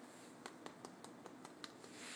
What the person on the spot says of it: you hear that nice and crispy